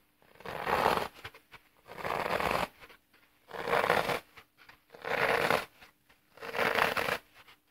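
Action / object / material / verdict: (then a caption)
scrape / floral foam block / floral foam / none. A thumb presses repeatedly along the edge of a solid, dry green floral foam block held upright, crushing the porous foam into a row of dents. Five separate presses each make a soft, dry, crumbly crunch lasting about a second, with quiet pauses between them.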